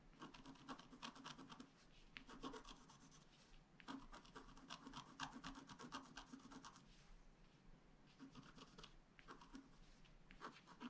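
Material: Coated paper.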